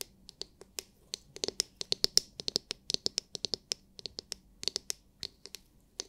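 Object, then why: Hard plastic massage brush dome. Long nails tap and scratch the hard clear plastic glitter-filled dome of a palm-sized oval massage brush with plastic bristles, held in the hands. About thirty quick, separate, bright clicks come in an uneven rhythm, each dying away almost instantly, with faint scratchy texture between them.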